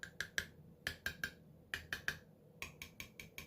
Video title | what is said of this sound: DELICIOUS ONION JAM - PRESERVED - NESCO SMART CANNER | these two are the only two that haven't completely sealed yet. You could tell by tapping it the different noise